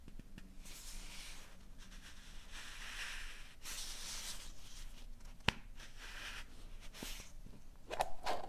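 A small, hollow, empty yellow plastic two-part egg capsule is held in both hands while long painted nails tap and scratch its shell and work the seam as it is opened and closed. Soft, breathy scratching and rustling swell and fade throughout, broken by one sharp click midway. A few louder plasticky clicks come near the end.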